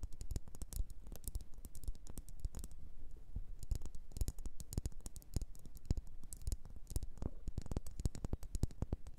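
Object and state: Wax pillar candle.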